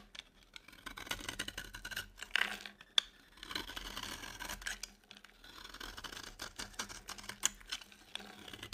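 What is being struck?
Bar of soap scraped with a blade.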